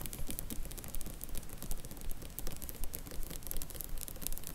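Long nails scratch and tap up and down a row of paperback book spines standing in a cardboard box set. The sound is a quick, fairly steady stream of dry, bright ticks and scratchy rasps over a soft low rumble, with each tap dying away almost instantly.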